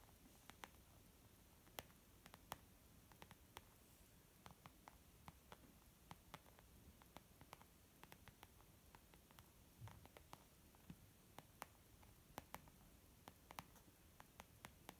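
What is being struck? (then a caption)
Leather zip pouch. Fingertips and nails of a moving right hand tap on a white textured leather zip makeup pouch, producing about 41 short, dry, bright clicks at an uneven pace. Each tap stops almost instantly with no ring, over a quiet, steady low background hiss.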